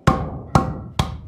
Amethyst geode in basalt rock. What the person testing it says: Listen. It's hollow inside. -Yes, it's hollow.